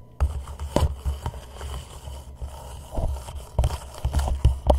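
Fingertips tap and scratch the sides of an empty, hollow white plastic reusable cup turned upside down over a microphone head. The taps come through as dull, boomy low thumps with a deep resonance, under a constant muffled scratching rustle, with very little high or bright content.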